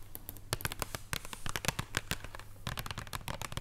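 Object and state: Wrapped chocolate bar tapped with fingernails.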